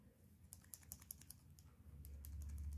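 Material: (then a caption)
Steel. A fake folding knife with a steel blade and resin wood handle rattles with a rapid series of sharp, high-pitched clicks as the loose blade shifts in place, over a low rumble that grows louder toward the end. Although the lockup sounds solid, the clicking reveals loose blade play.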